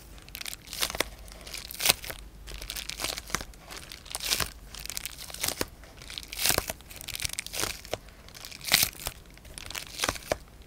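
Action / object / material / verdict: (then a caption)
scrape / plastic bubble wrap sheet / polyethylene / none. A large sheet of clear polyethylene bubble wrap with air-filled bubbles is held in both hands while fingertips and nails grip, crinkle and press it. The result is a steady, bright crinkling with sharp, crisp crackles and louder bursts throughout, and very little low end.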